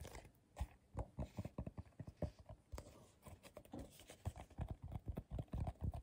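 Fingertips and short nails tap on the bottom and outer wall of a medium, hollow, empty bowl of coiled colorful paper held in the hands. The result is a quiet, irregular run of many soft, dull, low thuds with a faint papery tick, each dying away almost at once.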